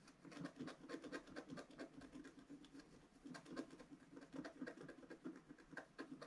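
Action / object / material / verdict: scrape / black-coated scratch-art paper card scratched with a wooden stylus / coated paper / none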